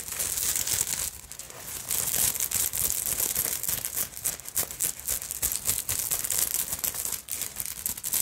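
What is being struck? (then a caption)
Beaded sequin fabric purse. Long acrylic nails scratch across a black beaded sequin fabric purse, raking over its beaded body and bead fringe. The result is a dense, bright, crinkly rasp of rapid, irregular strokes with brief pauses, mostly high hiss with very little low end.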